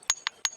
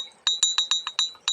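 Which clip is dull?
The first.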